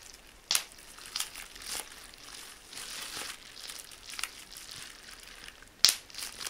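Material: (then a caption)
Plastic. A small piece of clear plastic bubble wrap with air-filled bubbles is held in both hands and popped by pinching the bubbles between fingertips and thumbs. Bright, crisp crinkling runs throughout, with five distinct pops: two loud, sharp snaps near the start and end, and three softer ones in between.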